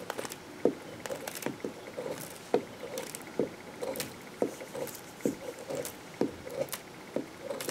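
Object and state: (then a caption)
Bar soap scraped with a knife. A metal knife cuts and scrapes the end of a solid green bar of soap held in the hand, shaving off curls of soap. Short, crisp, papery scraping strokes repeat at an uneven pace, each a quick mid-pitched scratch with brief bright edges. The strokes die away almost at once against a quiet background.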